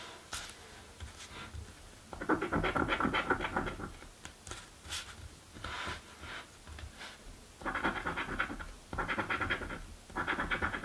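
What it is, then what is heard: Scratch lottery ticket being scratched. A coin scratches the letter squares of a paper crossword scratch lottery ticket held flat on a dark table. Bursts of dry, rasping scratching, bright and gritty, come in rapid strokes, separated by quieter pauses with light ticks and scrapes.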